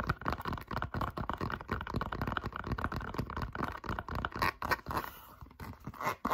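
A handheld, hollow light turquoise Crocs clog of molded foam rubber with a corgi charm is scratched and tapped all over with long pink acrylic nails. The result is a fast, uneven stream of soft, dull taps and scratchy rubbing, about four strokes a second. It has a muffled, low-to-mid tone with little brightness and no ring, and it briefly thins out near the end.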